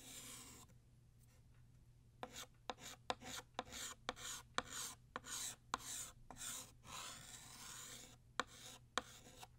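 Blue chalk draws a ribbon fold in short strokes on a flat black chalkboard. After an opening sustained scrape come thirteen quick, bright, scratchy chalk strokes separated by brief pauses, with a longer drawn-out rasp partway through. The scratches are quiet, dry and high-pitched, over a faint steady low hum.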